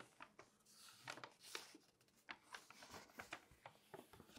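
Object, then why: Glossy paper magazine. A long-nailed hand rubs and scratches across the spread pages of an open glossy paper magazine on a table, using fingertips and nails, and turns the pages. The result is a quiet run of short, bright crinkles and papery scratches with rustling in between and almost no low end.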